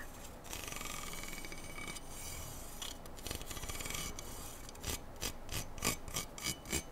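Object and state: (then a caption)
Aluminum rifle handguard being scratched. Fingernails scratch and rub along the length of a black slotted aluminum handguard from an AR-style rifle, a hollow tube held steady. A steady, raspy scraping with a bright, hollow metallic edge runs for about five seconds, then breaks into seven short, separate scratching strokes.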